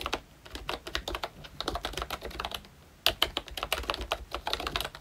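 Fingertips type continuously on a ROYCHE Disney Mickey Mouse retro plastic membrane keyboard with round keycaps. Quick, bright, short clicks and taps patter in an uneven stream, dip briefly near the midpoint, then return a little louder.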